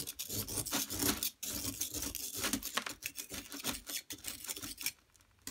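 A flat metal blade scrapes a solid yellow plaster excavation block as powder piles up. Dense, bright rasping strokes run almost continuously before trailing off into near silence at the end.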